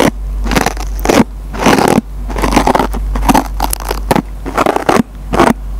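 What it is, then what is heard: Scouring sponge (nylon pad on foam), scratched. A metal-tipped pencil scratches the green nylon scouring pad on a dry foam Scotch-Brite sponge. Repeated bursts of rough, crackling scraping noise come in uneven strokes over a steady low hum.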